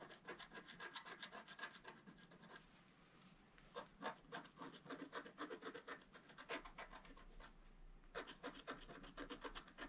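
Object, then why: Black-coated scratch art card scratched with a wooden stylus. A wooden stylus scratches lines into a flat black-coated scratch art card at the base of a drawn vase. Quick, dry, raspy strokes come at roughly four per second, each bright and brief. The strokes quiet briefly near three seconds and again just before eight seconds.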